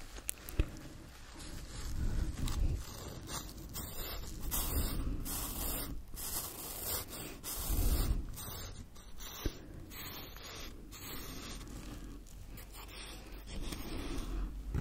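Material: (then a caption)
Nylon fabric. Fingertips and nails scratch and rub the surface of a small black quilted nylon zippered pouch held in both hands, its hollow, soft body giving off steady scraping and rustling. The sound is dominated by a low, muffled rumble beneath fainter bright scratchy texture, with a few sharper clicks standing out.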